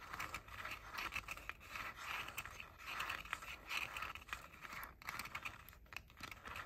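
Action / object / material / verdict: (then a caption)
scrape / plastic headphone ear cups / plastic / none. Short painted fingernails tap and scratch the outer shells of the hollow ear cups on pink plastic JBL over-ear headphones. The result is a quiet, steady stream of bright, dry scratching and light clicking taps with a hollow, plasticky tone.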